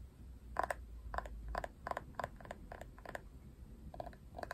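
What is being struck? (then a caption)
Plastic paddle hairbrush. Long nails tap and scratch the printed plastic back of a paddle hairbrush held by its handle. The result is a quick, irregular series of short, dry plastic clicks with a mid-range tone around 1 kHz, each dying away almost instantly over a faint low rumble.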